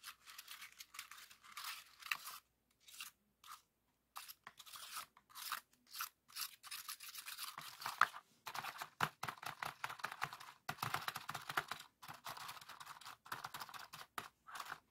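Fingertips press and pop the hollow cells of a hand-sized, multicolor heart-shaped origami pop-it made of folded red, yellow, orange, white and green paper. The result is a quick run of dry, papery crinkles and soft crunchy pops, bright and thin with almost no low end. They come in uneven bursts separated by brief silences.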